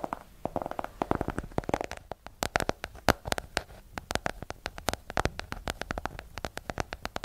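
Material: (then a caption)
Cardboard. Long nails tap rapidly on the cover of a small, solid hardcover book with a yellow cover, making dozens of quick, dry clicks with an uneven rhythm. Each tap is sharp and dies away almost at once, with a hollow mid-range knock under a bright tick.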